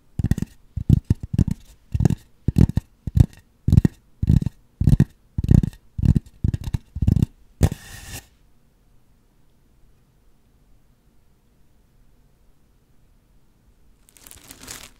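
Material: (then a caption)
Polystyrene foam. Long acrylic nails scratch and rub the surface of a large white polystyrene foam sphere used as a microphone cover, making crunchy, low, thumpy scraping bursts in an irregular stop-and-go rhythm for about eight seconds. Near-silence follows for about six seconds, then a softer, brighter rubbing starts again at the end.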